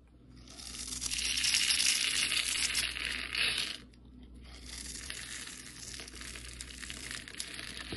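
A utility knife blade slices small cube flakes off a solid turquoise embossed soap bar, pre-scored into a grid and held in the hand. The crisp, high cutting and scraping crackles steadily, loudest for the first few seconds, then dips and continues more softly.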